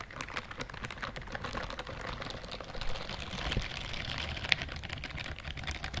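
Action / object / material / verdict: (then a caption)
scrape / silicone glove with bristle pads / silicone / none. Long nails and fingertips scratch and rub the bristle pads of a pink-white silicone dishwashing glove. The result is a dense, steady stream of quick, dry scratching ticks with a bright, crisp edge over a soft low rustle, with a few slightly sharper clicks standing out.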